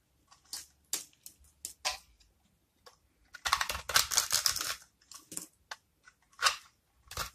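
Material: Soap.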